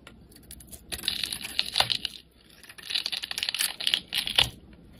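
A utility knife blade shaves and carves curls of pink soap from a palm-sized solid Lux soap bar with a spray-painted colored coating, held in the hand. Crisp, bright scraping and cutting strokes crackle in two busy bursts separated by a brief quiet pause, with sharp, short clicks centered around 3.5 kHz and almost no low end.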